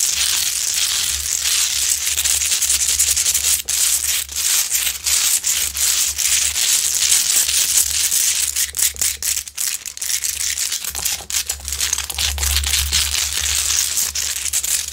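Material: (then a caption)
Rock salt. Long nails scratch quickly over the top and sides of a large, lit, solid rock-salt Himalayan salt lamp with a rough crystalline surface. The result is a dense, bright, gritty rasping that runs almost continuously with brief dips, over a faint steady low hum.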